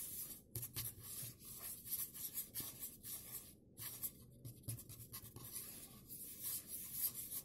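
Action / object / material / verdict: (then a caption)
scrape / plastic bottle scratched and tapped with fingernails / plastic / none. Fingertips and nails scratch and tap along the body of a hollow, white opaque plastic bottle with a blue cap, held sideways over a tablecloth. Bright, dry scratching and rubbing runs almost continuously, broken by soft, low hollow thumps and a few brief pauses. The taps die away almost instantly with no ring.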